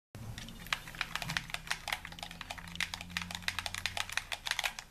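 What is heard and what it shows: A hollow white plastic handheld gamepad, held in both hands in a dim room, is worked rapidly with fingertips and thumbs pressing and tapping its buttons and sticks. About thirty quick, clicky plastic taps sound bright and dry, each dying away almost instantly over a faint low hum.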